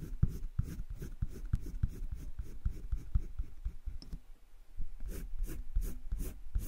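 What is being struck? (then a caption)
Colored pencil on drawing paper in a spiral sketchbook. A hand-held colored pencil rubs shading strokes over flat cream drawing paper in a wire-bound spiral sketchbook. Quick, dry, scratchy back-and-forth strokes repeat in a steady rhythm, then briefly thin out before a final run of bright, raspy strokes.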